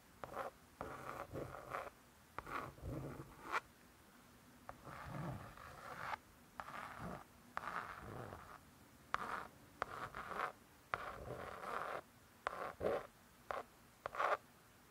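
Long acrylic nails scratch across the laminated cardboard cover of a closed spiral-bound hardcover cookbook. The result is a series of short, dry scratching strokes centered in the midrange, separated by brief quiet pauses.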